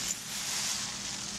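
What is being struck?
Nothing is struck.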